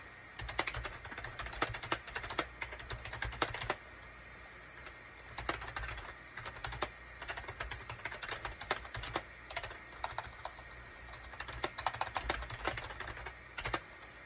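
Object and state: Plastic computer keyboard being typed on.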